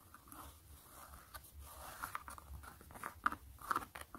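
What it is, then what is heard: Knit fabric sneaker being scratched. Long glittery nails scratch and trace across the gray mesh knit fabric upper of a hollow sneaker. The result is quiet, irregular, dry crunchy rasps with a few sharper scrapes that stand out near the end.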